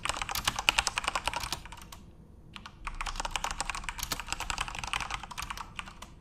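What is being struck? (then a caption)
Plastic mechanical keyboard. Fingertips type on a full-size RGB-backlit Corsair mechanical keyboard with plastic keycaps, producing rapid, bright, clicky keystrokes in quick bursts. The typing pauses briefly around the middle, then resumes in another fast run of sharp, short clacks.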